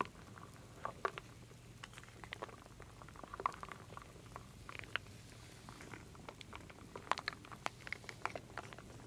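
A wooden spoon stirs solid wooden beads and acorn pieces in a full wooden bowl, giving quiet, dry clicks and light clattering taps that rise and fall throughout. The knocks are short and bright with no ring, over a steady low hum.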